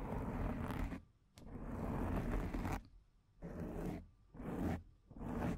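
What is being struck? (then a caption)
Foam microphone windscreen. Long painted nails scratch the top and front of a black foam microphone windscreen. Rough, muffled rasping strokes, heavy in the low end, come in bursts separated by brief quiet gaps.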